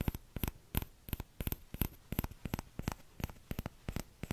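Fingertips tap the empty bowl of a small orange plastic ladle held close to the microphone, in a quick, uneven series of short taps. Each tap is a dry, hollow knock with a soft low thump and a faint bright click on top, and it stops at once with no ring.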